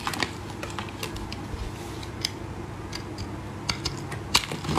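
A solid green bar of soap, held in gloved hands, is shaved and cut with a metal blade, producing dry flakes. Irregular, crisp scraping clicks with bright, high transients sit over a soft low rumble. A few sharper cuts stand out near the start and end.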